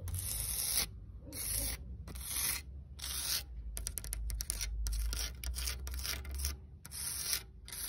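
Long red acrylic nails scratch a flat, solid concrete slab with a rough, grainy texture, outdoors in dappled sunlight. Bursts of bright, gritty scraping come in uneven strokes with short quiet gaps between them, over a steady low rumble.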